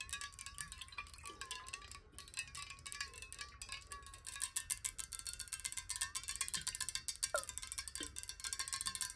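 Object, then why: Glass water bottle. Long nails tap rapidly on a glass water bottle with some water inside, producing a dense run of bright, clicky taps with a faint high ringing tone. The tone wavers and shifts as the water moves inside the bottle.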